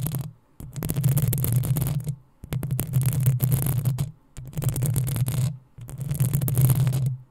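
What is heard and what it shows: Long acrylic nails of both hands scratch the hollow metal mesh head of a black desktop USB microphone. The scratching comes in dense, rapid bursts separated by brief pauses, with a heavy low rumble and a bright, crackly hiss on top.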